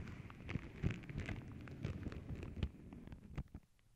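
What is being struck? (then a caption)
Tissue paper sheet. Long nails scratch and tap across a flat, paw-print tissue paper sheet, making a dense, irregular crackle of soft papery rustles and sharper taps. The sound is mostly low and muffled with occasional brighter crinkles, and it thins out to a few scattered taps near the end.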